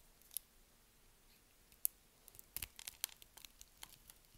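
A box-cutter blade carves cubes off a solid, palm-sized pink bar of soap, pre-scored into a grid and held in one hand with long nails. Sparse, bright, crisp cutting and scraping clicks come at first, then a denser run of short snaps. The clip ends on the loudest sharp crack as the soap cubes come away.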